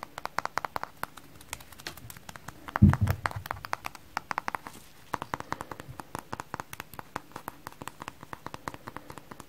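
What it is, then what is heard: Frozen foam kitchen sponge. A hand-sized rectangular kitchen sponge, frozen stiff with frost on it, with white wavy porous foam on top and a blue layer underneath, is held in both hands and tapped with medium-length painted nails and fingertips. Many quick, dry, clicky taps run throughout, with a brief louder, lower-pitched burst near the three-second mark.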